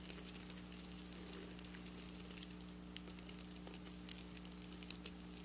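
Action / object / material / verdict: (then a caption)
scrape / sequin fabric scratched with fingernails / plastic sequins / none. Long black nails quickly tap and scratch across flat silver sequin fabric, giving a steady stream of soft, bright crinkly clicks and scrapes over a low, constant hum. Sharper ticks stand out now and then near the end.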